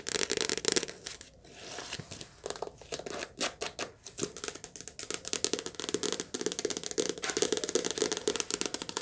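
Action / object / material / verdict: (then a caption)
tap / softcover paperback book / paper / none. Long nails rapidly tap and scratch the glossy cover and spine of a softcover paperback book. The result is a dense stream of crisp, dry clicks and papery scratching, bright with a faint hollow body, almost no low end, and no ring after each tap, broken by a few brief pauses.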